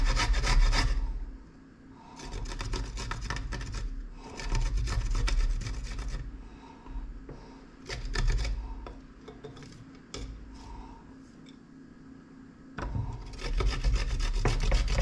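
A solid piece of fresh coconut meat, held in the fingertips, is rubbed repeatedly across a round stainless-steel grater with a yellow plastic rim set on a plate, and grated coconut collects underneath. Bursts of quick, scratchy rasping strokes come and go with quieter pauses between them, over a steady low rumble.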